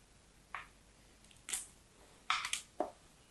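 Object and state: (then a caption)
Bar of soap being carved. A small, solid pink bar of soap with a dotted pattern is held in hands with long yellow nails and shaved and carved with a thin dark knife, letting curls drop onto a purple cloth. Short, crisp scraping bursts ring out one at a time against a quiet background, bright and papery with almost no low end. Near the end, two cuts come in quick succession, followed by a softer, lower-sounding scrape.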